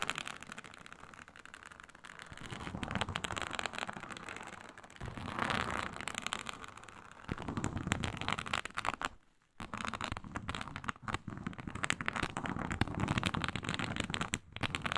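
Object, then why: Synthetic leather mat with embossed reptile-scale texture. Long pointed nails scratch with both hands across a flat, iridescent faux snakeskin mat of embossed reptile-pattern synthetic leather. The result is a dense, continuous crackly scraping that shifts between softer and rougher passes. It dips to near silence briefly around the middle.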